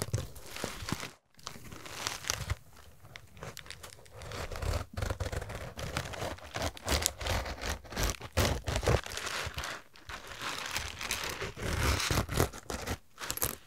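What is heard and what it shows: Fingertips and nails handle and rub a small, soft cotton fabric zip fanny pack with a pastel heart print, which is hollow and looks empty, working over the fabric and the zipper edge. The result is a dense, irregular stream of rustling, crinkling and scratchy scraping with bright hiss and soft low thumps, broken by a couple of brief near-silent pauses.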